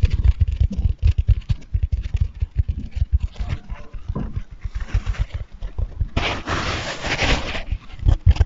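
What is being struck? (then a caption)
Foam bath sponge. A dry, soft, hand-sized light-blue porous foam sponge is held in both hands close to the microphone and squeezed, rubbed and scratched with fingertips and nails. Rapid, muffled low thumps and crinkly rustles fill the clip. A stretch of bright, hissy scratching stands out near the end.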